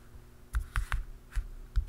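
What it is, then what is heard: Plastic canister lid. Fingertips and short nails tap the black plastic lid of a hollow round canister. Five short, dull taps land unevenly, each a low, hollow thud with a brief bright click that dies away almost at once. A faint, steady hum sits underneath.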